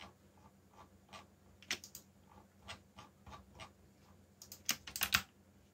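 Fingertips type on a backlit mechanical keyboard with black plastic keycaps, producing short, bright clicks at an uneven pace. The keystrokes are quiet at first, then grow louder and closer together near the end, with a faint steady low hum underneath.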